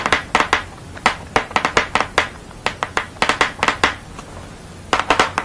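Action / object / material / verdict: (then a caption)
tap / painted paper board / paper board / none. Long fingernails tap and scratch across a thick painted paper or board sheet bearing a purple-background portrait of a woman with glasses. Quick, irregular bursts of crisp, bright clicks follow one another, each dying away almost at once. Brief scratchy rasps and a faint low hiss fill the quieter gaps.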